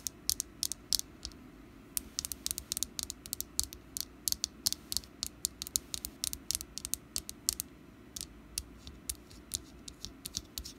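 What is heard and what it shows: Long black nails tap over and over on the ribbed side of a small, solid orange wax pumpkin candle with a green top. The quick, dry clicks are bright and die away at once, falling in an uneven, pattering rhythm over a quiet low background.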